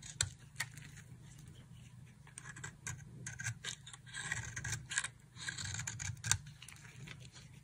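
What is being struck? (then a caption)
Bar of soap scraped with a thin blade. A small solid pink bar of dry soap, held in one hand over a pile of soap shavings, is scraped and carved with a thin blade held in the other hand, producing fine flakes. Dry, bright scraping and crisp cutting strokes come in quick irregular bursts over a low steady hum, with a few sharper snaps standing out.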